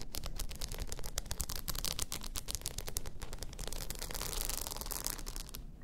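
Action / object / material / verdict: scrape / rhinestone-covered tumbler / rhinestone / none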